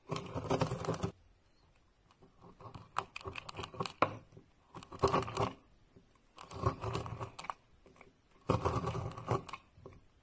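A metal knife blade repeatedly slices into a solid, palm-sized, round bar of pink and orange marbled soap held in a hand, shaving off a pile of crumbly flakes. Bursts of crisp, crackling scraping with bright edges come in several runs separated by quiet pauses.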